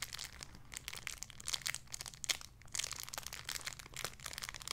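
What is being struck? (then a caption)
Thin plastic bag holding a soft toy. A small, clear, crinkly plastic bag holding a soft pink squishy toy is crinkled with fingertips while briefly held in one hand. It makes a steady stream of bright, crackling crinkles with crisp little bursts throughout. The sound is quiet and high-pitched, with only a faint low hum underneath.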